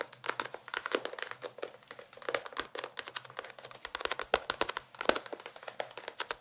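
A small paperback book with a paper cover is held in both hands while fingertips and nails scratch and tap its cover and page edges. The result is a dense stream of quick, dry, crinkly paper taps and scratches, bright and crisp with almost no low end and no ring after each hit.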